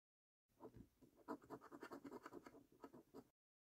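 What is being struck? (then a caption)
Paper scratch card with latex coating. A coin scratches the latex prize circles on a £25 5x £1 Million Prize Portal National Lottery paper scratch card. About thirteen quick, quiet rasping strokes follow one another in a steady rhythm, each a dry scrape with a brief bright edge and no ring.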